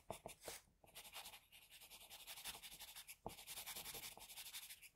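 A graphite pencil tip held in an extender scratches across a flat sheet of drawing paper with a sketch on it, with a tissue under the hand holding the paper. Quick, short hatching strokes make a steady, bright, papery scratching rhythm, broken by a brief pause and a few sharper ticks.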